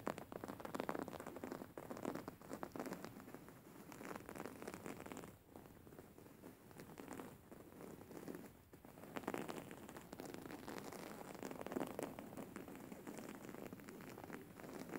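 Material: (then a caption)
Cotton. Fingernails of both hands scratch a white cotton cushion with flower embroidery, held upright. The result is a dense, soft, rain-like crackle of rapid scratches, mostly in the low-mid range, with brief quieter lulls around 5.5 and 8.7 seconds before the scratching picks back up.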